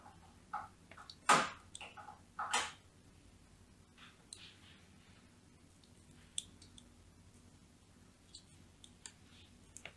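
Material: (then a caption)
Soap. A thin metal blade scores diagonal lines across a solid, palm-sized, cream-colored bar of soap held in a hand with long nails. Crisp, bright scraping strokes are heard, with the two loudest landing early in the clip, followed by softer scattered clicks and ticks against a quiet background.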